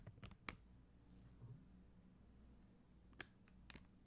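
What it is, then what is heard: Plastic rhinestone sticker sheet. Long dark-green nails tap and scratch across a flat sheet of red and clear faceted plastic rhinestone stickers on white backing. Quiet, soft scratching is punctuated by a few sharp, bright plastic clicks that stop instantly, over a faint low hum.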